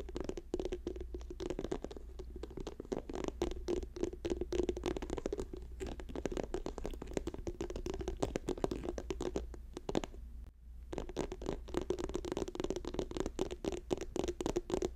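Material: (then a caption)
Soft plastic. Fingertips and nails rapidly tap and scratch a hand-sized, apparently filled orange and white soft plastic lotion tube lying on a fur rug. A dense stream of quick, dull clicks and scratchy strokes centers on a hollow tone around 380 Hz, with little high end, over a steady low hum. The tapping pauses briefly around 10.5 seconds, then resumes at the same fast pace.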